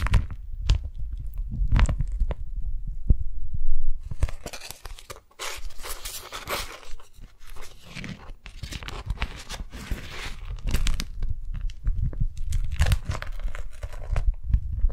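A thin, flexible beeswax-coated cotton food wrap with an orange and lemon print is held between both hands while long nails grip, pull and crinkle the waxy sheet. The sound is a steady run of close, dull low thumps and rustles, with bright, papery crackles and tearing-like crinkles spreading in from about four seconds on.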